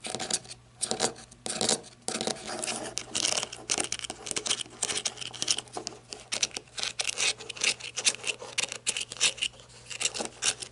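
Long red nails tap and scratch the ribbed barrel of a black matte flashlight made of plastic or coated metal, working along its ribbed grip. Quick, dry, bright clicks and raspy scraping strokes come in rapid bursts with no ring, leaving only a faint low hum underneath.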